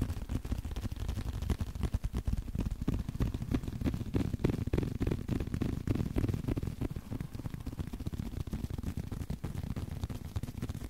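A small blue leather card holder, held edge-on, is tapped and scratched with the fingertips. The result is a dense, uneven run of soft, dull taps, about three per second, with a low thumping body, almost no bright edge, and no ring after each touch.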